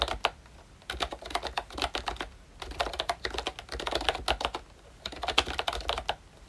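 Fingertips of both hands type on a full-size pink ROYCHE Disney Mickey Mouse retro keyboard, a plastic-cased membrane keyboard with round dark green plastic keycaps. Quick, soft, bright plastic clicks and taps come in bursts with brief pauses between them, each one short with almost no ring.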